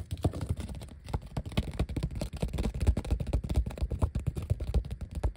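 A flat, thin black vinyl sheet of large die-cut letter stickers, with white backing showing, is scratched and tapped with the fingertips and short nails. The result is a fast, uneven run of soft, dull taps and scratches with very short decay, mostly low in pitch.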